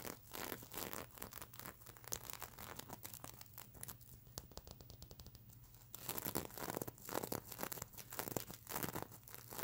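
Long nails scratch the plastic sequins on a sequin-covered stuffed unicorn pillow with a plastic eye, making dense, rapid, bright scratching and crinkling strokes. A quieter, finer run of quick ticking scratches in the middle gives way to louder, fuller scratching again, over a faint steady low hum.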